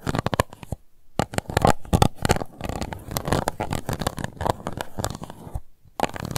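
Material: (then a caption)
Plastic. Long nails scratch the bottom of an empty, transparent pink plastic cup in rapid, rasping strokes. The dense, dry scratching is mostly low and mid-range, with brief pauses near the start and the end.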